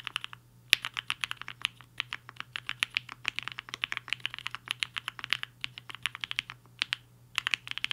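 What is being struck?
Mechanical keyboard with plastic keycaps.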